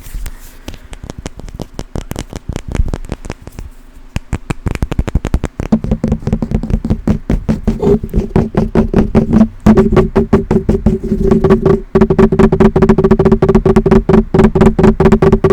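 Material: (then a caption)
Stone. Rapid fingertip tapping and scratching on a purplish rock with hints of green from an old childhood rock collection. Dense, dry taps with almost no ring start soft and sparse, then grow louder and faster. From about six seconds on they blend into a steady rattling texture with a low tonal hum around 200 Hz.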